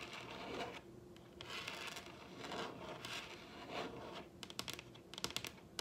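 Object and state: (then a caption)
Wooden tabletop tapped with fingernails. Long red acrylic nail tips, worked with both hands, tap across the surface of a large solid wooden dining tabletop. Soft, bright scratching and rubbing swells build first, then give way to a run of sharp, quick-decaying clicks near the end.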